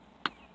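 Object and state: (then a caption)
Solid, well-bonded cement parging on a foundation wall. A single sharp tap on the cement parging of a foundation wall, struck during a sound test, gives a short, hard, bright knock centered around 1.5 kHz that dies away almost instantly. The firm, non-hollow sound shows the parging at this spot is solid and well bonded, unlike a nearby hollow area that was broken out.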